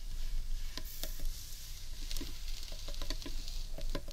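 Fingertips and long nails tap and scratch the underside of a large, hollow, carved wooden bowl. Short, dull taps mix with dry scratching that carries a bright, hissy edge over a low, steady rumble. Each tap dies away almost at once.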